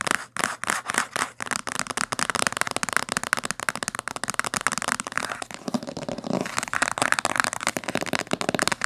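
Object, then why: Hardcover book with coated board cover. Fingernails rapidly scratch and tap the spine edge of a thick, solid blue-green hardcover book with a coated board cover, lying closed on a table. The result is a quick, dense stream of dry, crisp clicks and scratchy rasps. The sound is bright, with almost no low end and no ring after each tap.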